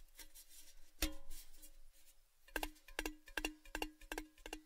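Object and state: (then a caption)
Empty metal tin. A tall, orange-red, cylindrical metal Baileys gift tin, hollow and empty, is held upside down close to the microphone and tapped with fingertips and nails. Soft ticking taps come first, then a sharper tap, followed by a quicker run of bright, ticking taps. Each tap gives a short, low metallic ring.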